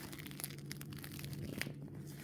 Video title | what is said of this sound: Diamond Painting Comparatif des différentes colles de finition pour DP | Normalement, vous devriez entendre que ça croustille.